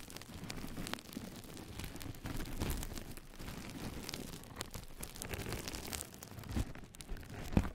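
Long nails of both hands scratch the textured surface of a flat yellow knitted-mesh scrub sponge pad laid over the microphone. The result is a continuous, dense, muffled crackling rustle weighted toward the low end, with thin bright ticks and a few sharper pops near the end.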